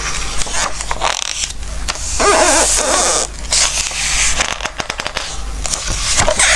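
Fingertips rub and stroke across the glossy pages of an open Christmas book and turn them, making bright, papery swishes and crisp rustles. A cluster of sharp crackling snaps comes near the end, all over a steady low hum.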